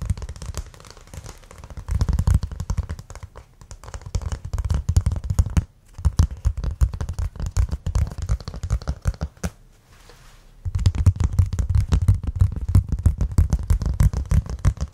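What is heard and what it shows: A thin, solid, flat rectangular brown cork board, held in both hands, is tapped and scratched with fingertips and nails. The result is a fast, irregular stream of soft, dull, low thumps with faint bright scratching on top. The sound pauses briefly near the six-second mark and again between about nine and a half and ten and a half seconds.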